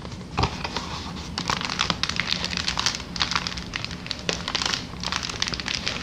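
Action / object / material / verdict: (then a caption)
tap / plastic air-column packaging sheet / plastic / none. A large, clear, air-filled plastic inflatable air-column packaging sheet is held in both hands and squeezed, crinkled and tapped with long dark nails. Bright crinkling and crackling runs throughout, broken by quick, sharp taps over a faint low hum.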